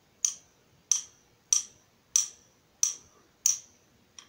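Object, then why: Steel nut driver shaft. A hand-held nut driver with a long steel shaft and yellow plastic handle is struck on its shaft by the steel shaft of a second nut driver. Seven bright, high-pitched metallic taps ring and decay quickly, with the last tap noticeably softer.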